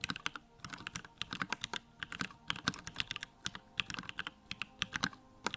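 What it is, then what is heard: Plastic mechanical keyboard. Fingertips type rapidly on a Bakeneko65, a small 65% mechanical keyboard with Durock lavender switches, a plastic case, white plastic keycaps and the backlight on. A fast, steady stream of short, bright clacks sounds with very little low end, and each keystroke dies away almost instantly.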